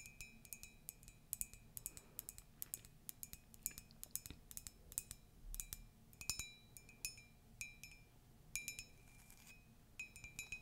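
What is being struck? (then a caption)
Ceramic mug. A ceramic Disney mug is tapped repeatedly in a quiet, steady series of sharp, bright clinks. Each clink rings briefly with a high glassy tone and a steady partial near 2.5 kHz, over a faint low rumble.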